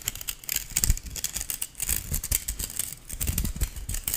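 A stainless steel balloon whisk is held by its handle while fingers and nails pluck, strum and slide along its thin wire loops. The result is a dense run of bright, scratchy metallic plucks and rasps that die away almost instantly, over a low rumbling undertone.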